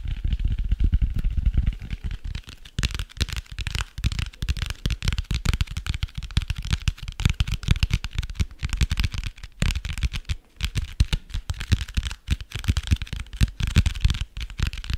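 Fingertips and nails tap and scratch the cardboard cover of a dark hardcover notebook held close to the microphone. Rapid, dry taps with short, bassy thumps blend with crackly scratching throughout the clip.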